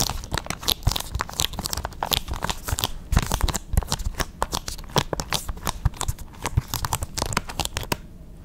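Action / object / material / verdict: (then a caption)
scrape / plastic game case with shrink wrap / plastic / none. A small hollow plastic PS5 game case for Persona 5, possibly still in shrink wrap, is held in both hands close to the microphone and quickly gripped, rubbed and scratched with long red nails. The result is a dense, rapid stream of crinkly, crackling scratches with bright, sharp edges over a low, thumpy handling rumble. The sound dies down to a quiet hiss in the last half-second.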